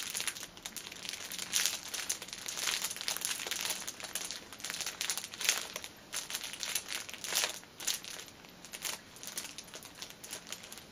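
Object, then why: Pocket tissue pack in clear plastic film. Fingers and nails squeeze and crinkle the ends and top of a cellophane-wrapped six-pack of pocket tissues resting on a table. The clear plastic film gives off a steady stream of bright, crackly crinkling with almost no low end, swelling into louder bursts every second or two.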